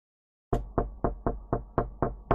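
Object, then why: Wooden surface. Someone knocks on a wooden surface eight times in a steady rhythm after a brief silence. Each knock is a short, dull thud with little ring.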